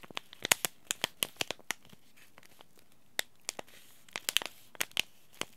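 Fingertips and short nails crinkle and rub a small, flat white and teal Yogi Tea sachet made of paper-foil laminate with a tea bag inside. The result is a quiet, dry, bright run of sharp crackles and crinkles that are grouped into bursts, with a lull in the middle. The crackles peak around 2.8 kHz, carry little low end, and stop instantly with no ring.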